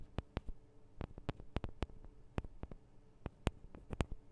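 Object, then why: Small metal microphone capsules on a handheld recorder. Long acrylic nails on both hands tap the small hollow metal microphone capsules of a Tascam DR-40 recorder. About fifteen quiet, dry, sharp clicks land in an uneven rhythm, each dying away almost at once. A faint low hum sits between the taps.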